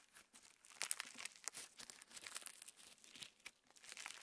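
Clear slime with plastic star sequins is held between both hands while fingertips stretch it into a band and press it back together. A quiet, bright, crinkly crackle of dense tiny clicks and sticky pops fills the clip, with no low end.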